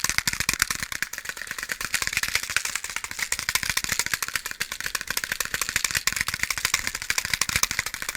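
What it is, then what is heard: Box of matches rattling. A box of matches is shaken, producing a fast, steady, bright rattle of many short, dry clicks with almost no low end. The matches stay loose inside the closed box.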